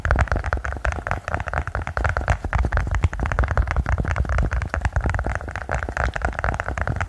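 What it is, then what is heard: Silicone push-pop toy. A silicone pop-it push-bubble toy is tapped quickly and continuously. The result is a steady stream of short, dull, muffled taps with a low thumping body and very little brightness.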